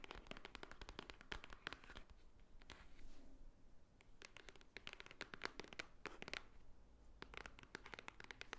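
Long nails tap quickly on the top and front face of a small, hollow white Swarovski cardboard jewelry box. The taps are quiet, dry, bright clicks that stop almost instantly, coming in irregular rapid bursts. A softer, sparser stretch in the middle is followed by a return to brisk tapping.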